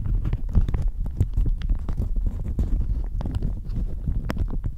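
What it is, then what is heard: Plastic shower cap. A thin, floral plastic shower cap stretched hollow over a microphone is scratched and crinkled with long manicured nails. The result is a dense, continuous run of muffled scratching and crinkling, heavy in low rumble with quick, sharp bursts of brighter rustle.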